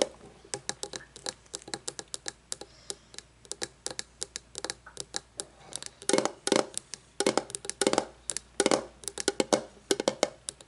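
Long painted nails tap and scratch the flat face of a shiny metal lid on a candle jar lying on its side. Quick, dry, bright clicks with a faint metallic ring come in an irregular stream, thickening into longer scratchy bursts in the second half before tapping resumes.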